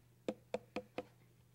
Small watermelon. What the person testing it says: What you want to listen for is that nice hollow sound.